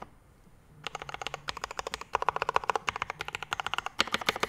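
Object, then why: Mechanical keyboard with ABS keycaps, brass plate and metal case. A Rama M65-B 65% mechanical keyboard with a dark metal case, PVD brass plate, Mint Panda linear switches and ABS keycaps sits on a desk mat while both hands type fast with the fingertips. After a short quiet start, about 34 sharp, dry clacks with bright ticks rattle out in quick runs, each dying almost instantly. The last strokes, as one hand presses the left-side keys, are louder.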